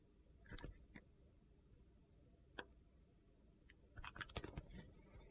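A solid bar of soap with a blue and purple glitter coating, held in the hand, is carved along its edge with a utility knife blade, slicing off pieces. Short, crisp clicking cuts come in scattered bursts, with a cluster of quick gritty snaps near the end over a quiet low background.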